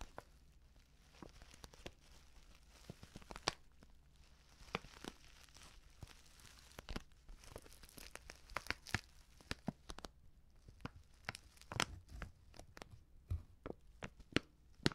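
A medium stand-up paper tea pouch, white with a purple "Bio Tee" print, lined inside and apparently filled, is gripped and squeezed by fingertips with medium painted nails. This produces quiet, irregular crinkling and crackling with sharp, bright snaps scattered throughout, over a faint steady low hum.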